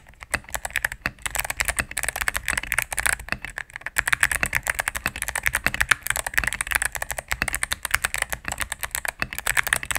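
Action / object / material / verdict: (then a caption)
tap / mechanical keyboard with plastic keycaps / plastic / none. Rapid typing on a solid cream full-size mechanical keyboard with plastic keycaps on a plastic case, pressed with fingertips and medium-length nails. A dense, steady stream of short, bright clicks and clacks centered around 1.7 kHz, each dying away almost instantly, with very little low end.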